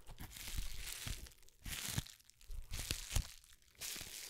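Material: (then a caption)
Plastic. A small, hollow, empty pouch of air-bubble plastic wrap is held close to a microphone and crinkled, squeezed and rubbed between the fingertips of both hands. Bright, crackling crinkles with low, soft thumps come in bursts, separated by short quiet pauses.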